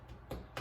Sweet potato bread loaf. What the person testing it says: when you thump it's got a hollow sound